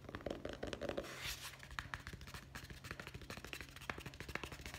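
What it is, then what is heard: Hardcover guest book, board cover. A hardcover guest book with a solid board cover, shown back then front and held upright, is tapped fast with the fingertips on the cover and the spine edge. The result is a rapid stream of short, dry, clicky taps with a steady low hum underneath and a brief brighter brushing swell near the start.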